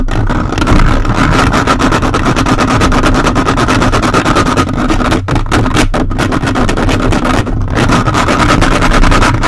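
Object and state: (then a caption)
Metal mesh microphone grille being scratched. The plastic fingers of a toy robot grabber hand, held on a large hollow metal mesh microphone head on a red body, scratch it aggressively throughout. The result is a dense, loud, continuous scraping roar, heavy in low rumble, with rapid strokes blurring together and only a few brief dips in the middle.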